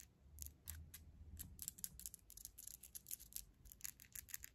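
Long glitter-gold acrylic fingernails are tapped and clicked against each other, nail on nail, with the fingertips held together. Quick, dry, bright clicks come in an irregular, fast string over a soft low rumble, each one dying away almost instantly.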